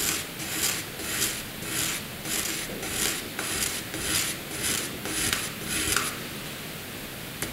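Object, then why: Pencil lead on a sheet of drawing paper. A pencil makes light, curved scribble strokes across a flat sheet of white drawing paper, giving a dry, bright scratching rasp. The strokes come in a steady back-and-forth rhythm of soft swells, then stop near the end, leaving quiet hiss and one small tick.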